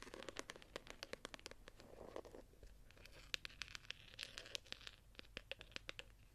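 Long nails scratch and tap the textured, embossed gold-pattern cover of a small ornate hardcover journal as it lies flat and is then handled. Quiet, bright, dry clicks come in rapid bursts over soft scratching and rustling, with each tap dying away almost at once.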